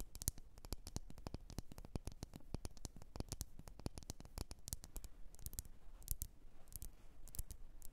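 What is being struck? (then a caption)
Glass candle jar. Long polished nails tap and scratch the sides of a medium lit candle in a red glass jar with printed text and a solid wax filling. Rapid, sharp clicks with bright ticks ring very briefly over a steady low rumble, interspersed with soft scratching. The clip stays quiet throughout.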